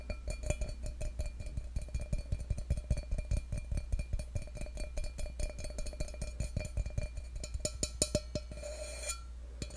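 Fingertips tap and rub the outer wall of a hollow stainless steel tumbler held close up, giving a rapid run of short, dry ticks and brushing scrapes over a steady low hum. A faint metallic ring sits around 600 Hz behind the taps, and the tapping thins out near the end, leaving mostly the hum and soft rubbing.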